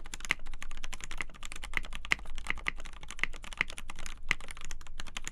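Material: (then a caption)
Polycarbonate. A black KBD8x polycarbonate TKL mechanical keyboard, with a polycarbonate plate, lubed Gateron Black Ink linear switches and white and black PBT keycaps in a hollow case on a desk mat, is typed on continuously with both hands. A rapid, dense stream of short clacky keystrokes is heard, with sharper louder key hits standing out and a bright tone around 2 kHz. Each hit dies away almost instantly.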